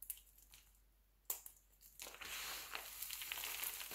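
Both hands squeeze, crush and rub handfuls of mixed-color glycerin soap shavings from a pile. A few sharp, bright crunches stand out against near silence. From the halfway point they give way to a steady, dense crackling and crinkling as the flakes are rubbed together.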